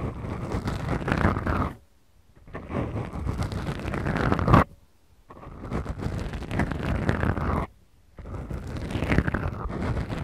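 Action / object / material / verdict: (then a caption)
scrape / foam microphone windscreens / foam / none. The tips of long acrylic nails slowly scratch two small black foam windscreens, soft and porous, on the mics of a Tascam recorder. The result is a deep, muffled, low-heavy rustling scrape in four long bursts separated by brief silences.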